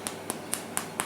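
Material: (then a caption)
Bread. Five light, evenly spaced taps on a loaf of homemade bread that has just had two more minutes in the oven. Each gives a short, dry, hollow knock with a bright click on top that dies away almost at once. The hollow, light sound shows the loaf is baked through and done.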